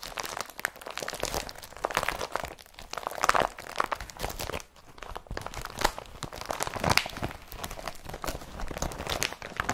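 An empty blue IKEA BRATTBY carrier bag, a woven polypropylene plastic tote, is pressed, crumpled and lifted by hand. A continuous run of dense, crisp crinkling and crunching rustles through the clip, centered around 1 kHz with bright upper edges and short, quick-dying crackles that rise and fall in soft swells.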